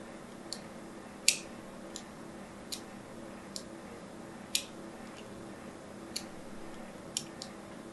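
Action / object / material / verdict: scrape / striped bar of soap scratched with a thin needle / soap / none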